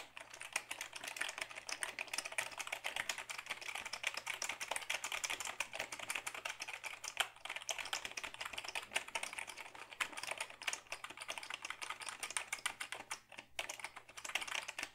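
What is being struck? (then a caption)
Plastic computer keyboard. A black Dell keyboard of hollow plastic is held tilted while fingertips type steadily on its keys for about fifteen seconds. The rapid, dense stream of short, bright plastic clicks and clacks centres near 3 kHz and dies away almost instantly, over a faint steady low hum.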